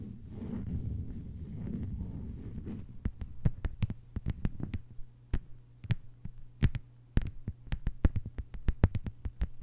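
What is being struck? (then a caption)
Thin plastic cutting mat tapped with fingernails. Long white-polished nails of both hands tap on a thin, solid, flat lime-green plastic cutting mat lying on a table. A low, muffled rumble fills the first few seconds, then quick, sharp, dry clicks follow in an uneven rapid pattern over a faint steady low hum, each tap dying away almost instantly.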